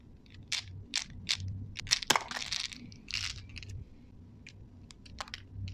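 A handful of small, solid, colorful candy-coated chocolate balls is shaken and rolled in cupped hands with long painted nails, so the candies collide with each other. Short, bright, dry clicks and rattling bursts come at irregular intervals, with no ringing, over a faint low hum.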